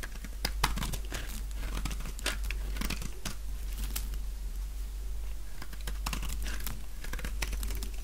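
A utility knife blade scrapes along the edge of a light-green solid bar of dry soap held in both hands, peeling off brittle layered flakes. A rapid series of dry, crisp crackles and crunchy scrapes with sharp bright clicks runs over a steady low hum. The flakes break away in short bursts that die out almost instantly.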